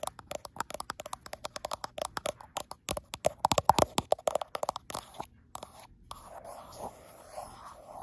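Long acrylic nail tips tap and scratch the frosted glass back of a gold iPhone Pro, along its right side, while the phone is held to a mirror. There are about 37 quick, sharp clicks centered around 800 Hz with bright edges, followed by a quieter stretch of soft, scraping scratches.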